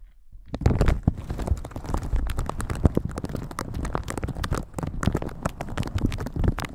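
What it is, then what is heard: Plastic shower cap crinkling. Red silicone-bristle gloves rub and brush a thin, crinkly plastic shower cap stretched over a microphone. After a brief quiet start, a dense, continuous stream of crinkling and scratchy brushing follows, heavy with low, muffled thumps from contact with the film.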